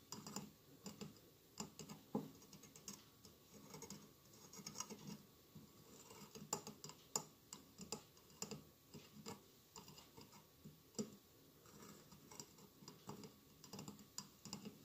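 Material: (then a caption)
Glass. Fingertips and nails tap rapidly on the tiled sides of a hollow glass mosaic votive candle holder with a lit candle inside. The result is a quiet, steady stream of bright, clicky taps with short scratchy strokes, each hit dying away almost instantly.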